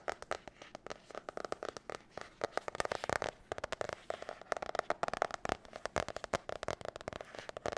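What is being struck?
Spiral notebook with glossy card cover.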